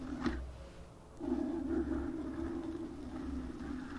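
Long nails scratch and tap a black foam microphone windscreen. A brief soft tap comes early, then a close, muffled scratching rustle fills the rest of the clip over a steady low rumble. The sound stays dull and low-mid, with little brightness.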